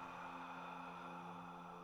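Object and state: Nothing is struck.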